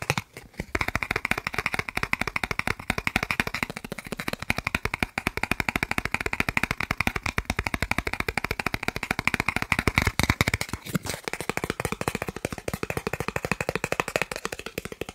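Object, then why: Thin plastic card. A thin, solid green plastic gift card held between the fingers is tapped rapidly with fingertips and nails. The result is a dense, continuous stream of sharp, dry clicks with almost no ring, broken only by brief pauses near the start and around eleven seconds.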